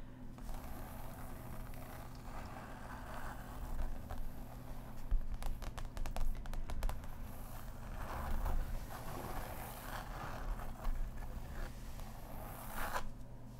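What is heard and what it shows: Long acrylic nails scratch across the surface of a large paint-by-numbers stretched canvas board lying flat. Dry, crackly scraping strokes come in bursts over a steady low hum, with brief bright ticks in the middle of the clip.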